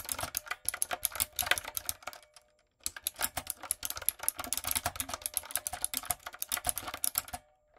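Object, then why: Mechanical keyboard with round plastic keycaps. A typewriter-style retro mechanical keyboard with round plastic keycaps and a light-up design is typed on with fingertips and long nails. The result is a rapid run of crisp, bright clicks with a brief pause in the middle.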